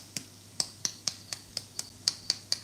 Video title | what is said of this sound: Subi subi scones | It has got a nice crust on it.